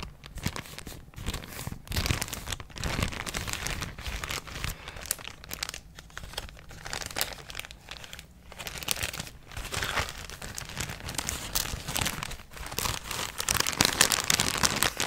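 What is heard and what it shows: A thin, empty yellow plastic bag is folded and crinkled between the fingers. It makes a continuous, irregular crackling rustle that is mostly high and bright, with short sharp crinkles that swell louder toward the end.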